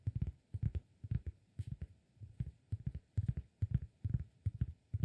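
Fingertips of the right hand tap and scratch the surface of a round, flat, solid cork disk held in the left hand. The result is quick clusters of soft, dull, low thumps that stop almost instantly, with only a faint scratchy hiss between them.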